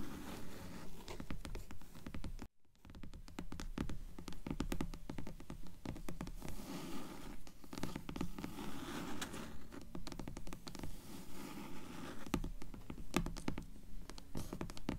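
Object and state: Hardcover book.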